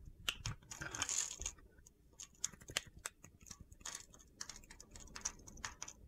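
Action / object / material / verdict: scrape / bar of soap / soap / none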